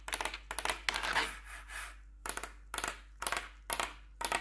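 Four metal claw nails tap across the keycaps of a black plastic backlit RGB computer keyboard. Quick bursts of bright, clicky taps rattle out in clusters, with a softer, smoother scraping stretch in the middle before the tapping bursts resume.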